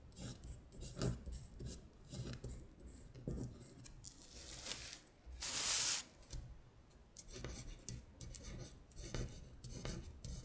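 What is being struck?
Paper sheet.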